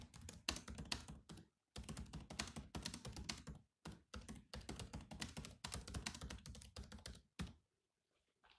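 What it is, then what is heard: Plastic laptop keyboard. Fast fingertip typing on a silver laptop's black plastic keyboard produces rapid clicky key taps in dense bursts separated by brief pauses. Each tap has a low, thuddy body and a bright click on top. The typing stops near the end, followed by a few faint sounds in near silence.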